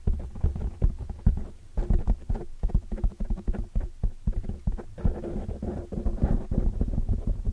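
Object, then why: Foam microphone windscreen. Dark-painted nails and fingertips rapidly scratch and tap the sides of a large black foam windscreen on a microphone. The result is a dense, continuous stream of muffled low thumps and scratchy rustling, almost entirely deep and bassy with very short decay.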